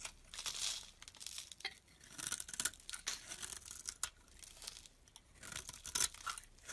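A knife blade shaves a dense, dry, olive-green stamped olive soap bar held in the hand, peeling off ridged chips. The clip is a run of bright, dry scraping and crinkly, tearing strokes that swell and fade, almost all high hiss with very little low end.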